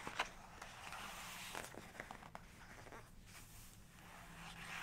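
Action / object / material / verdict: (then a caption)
tap / glossy paper page of a photo book / paper / none. Fingertips and long nails trace across and tap the glossy page of an open photography book, on a spread showing a black-and-white horse photograph. Soft, papery scratching and rubbing is broken by a few sharp, bright nail taps, all quiet over a faint steady low hum.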